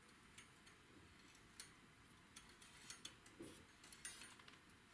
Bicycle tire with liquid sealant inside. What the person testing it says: when I spin the wheel, there's something rattling inside